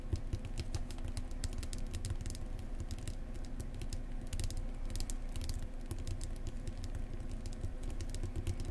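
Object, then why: Paperback book spine. Long painted nails quickly tap and scratch along the spine of a thick paperback book that is solid and closed. Rapid, soft, clicky taps with short bright ticks and scratchy brushing run steadily over a low, dull body.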